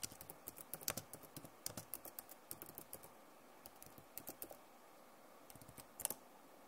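Long nails tap across the plastic keycaps of a backlit Acer laptop keyboard, producing quick, dry clicks in uneven bursts separated by short pauses. Each click is sharp and bright and dies away almost instantly, and the loudest cluster comes near the end.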